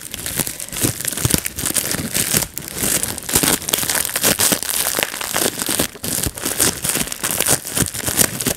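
A clear plastic bubble wrap sheet rests on a lap while fingertips pinch and pop its bubbles one by one. The result is a steady stream of sharp, bright pops over constant crinkling of the plastic, with each snap dying away almost instantly.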